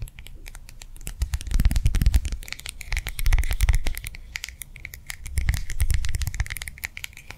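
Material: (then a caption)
Plastic, gel. A small round clear plastic gel-filled hand warmer pad is held in the hand and tapped and scratched with long nails. Quick, irregular clicks and soft, dull thuds carry over a steady scratchy rustle, rising and falling in bursts through the clip.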